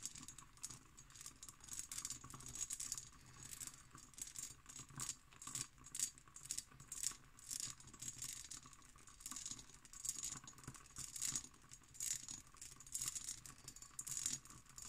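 Long green nails scratch over the hobnail texture of an empty cut glass decanter with its stopper. The result is a quiet, dense, bright rattling scrape of rapid tiny clicks in uneven bursts, with almost no low end.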